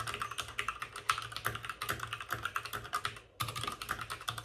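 Both hands with short-nailed fingertips type rapidly on a white full-size plastic mechanical keyboard with plastic keycaps and RGB backlighting, resting on a desk with a padded wrist rest. The sound is a fast stream of short, sharp plastic clicks with a bright clack around 1.3 kHz. The clicks pause briefly just past the three-second mark, then resume.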